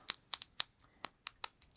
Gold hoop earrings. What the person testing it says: it's hollow like it's not solid gold